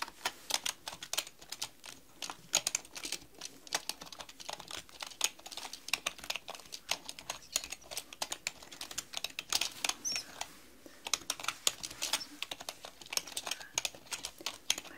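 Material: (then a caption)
Plastic. Long painted nails type steadily on a black mechanical computer keyboard with plastic keycaps. The result is a fast, continuous stream of sharp, bright clicks and clacks that die away instantly, with almost no low end and short irregular pauses between bursts.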